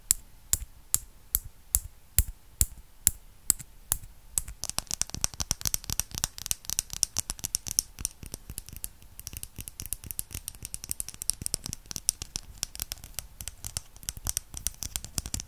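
A tiny pink and white plastic bottle with a cap, small and hollow, is held in the fingers and tapped and scratched with long red nails. It opens with about ten evenly spaced, sharp, bright taps. Then it shifts into rapid, dense clicking and scratching that continues to the end.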